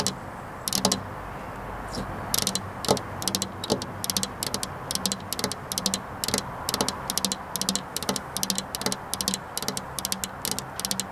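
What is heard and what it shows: Both hands, with long black-polished nails, tap on a flat glass window pane with a metal rail, seen from the far side, the hands staying on the glass throughout. Bright, sharp clicks come in quick rattling bursts that die away almost instantly, over a steady low hiss.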